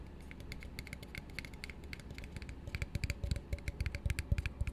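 An empty, hollow plastic drinking cup is held and turned in the hands while fingertips and nails tap and scratch quickly on its sides. Fast, irregular clicks with bright ticks sit over a low, hollow thud, each dying away almost at once. The tapping grows louder and more distinct in the second half.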